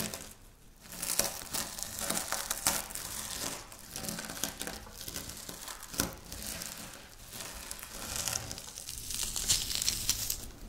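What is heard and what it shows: Long natural nails and fingertips of both hands scratch and rub through a loose pile of dry crumbled wafer biscuit spread on a flat pinkish speckled stone-like surface, crushing the solid small crumbs against it. A dense, bright crackling and crunching runs throughout, swelling and fading with sharper crisp bursts amid steady gritty scratching.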